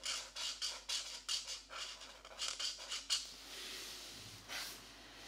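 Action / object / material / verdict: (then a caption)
scrape / felt-tip marker on a paper coloring book page / paper / none. A felt-tip marker held in the right hand is rubbed back and forth in short strokes over the paper page of an open paperback mandala coloring book lying flat on a desk mat, while the left hand holds the book still. Quick, bright, scratchy strokes come in a rapid run of short bursts, then ease into a softer continuous rub with one more louder swipe near the end.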